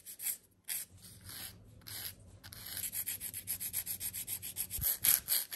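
A white and purple 100/180 emery nail file is stroked along the side of a long, clear stiletto plastic/gel nail extension worn on a gloved hand, rubbing and scratching its small, solid surface. A few slow, separate strokes give way to about two dozen quicker back-and-forth passes, each a bright, dry, hissy scrape that grows louder toward the end.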